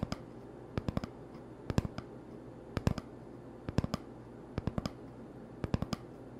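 Fingertips tap on the surface of an empty, hollow cardboard toilet paper tube held in one hand. About 22 soft, short, dull clicks come in small quick clusters of two to four, with pauses between. The taps sound over a quiet, steady low hum.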